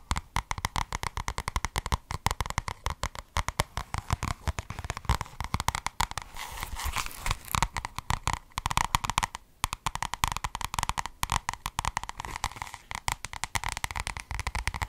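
Long red nails tap and scratch the paper cover and page edges of a solid white and red paperback book held in both hands. Rapid, dense, dry clicking taps run throughout, with a softer stretch of scratching around the middle.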